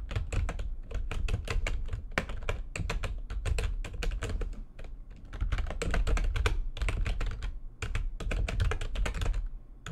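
Fast typing with long nails and the fingertips of both hands on a full-size plastic computer keyboard with white backlit keys, resting on a desk. Rapid, clicky key taps run continuously through the clip, each a short, sharp click with a bright top over a dull low thump that dies away almost instantly.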